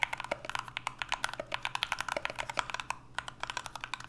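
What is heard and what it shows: Two hands type continuously with their fingertips on an NK65 65% mechanical keyboard with an aluminum case, Everglide Aqua King switches and PBT Notion keycaps. About 31 short, crisp clacks come in a fast, uneven stream, each dying away almost instantly. The sound is bright and clicky, centered around 2.2 kHz, with very little low end.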